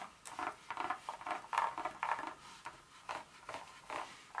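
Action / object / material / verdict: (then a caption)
scrape / dark chocolate bar / chocolate / none. Long nail tips rub and scratch across the segments of a solid dark chocolate bar lying flat. The result is a quiet, uneven series of short, dry scratching bursts with a midrange rasp and bright edges, each fading almost at once.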